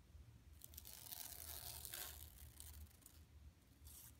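Long pink nails and fingertips scratch across the surface of a large, flat, yellow striped woven plastic mesh tote bag printed with a Buffalo Exchange bison logo, lying empty on carpet. Bright, crinkly, raspy scraping comes in uneven bursts over a soft low rumble, with a louder rough sweep around the middle.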